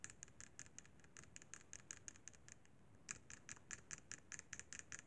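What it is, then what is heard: Plastic handheld game console. Fingertips tap and scratch the buttons of a hollow, silver-white plastic Sony PSP handheld game console. About 25 quiet, bright, dry clicks and scratches come in an uneven patter, with a short pause near the middle. Each tap dies away almost instantly.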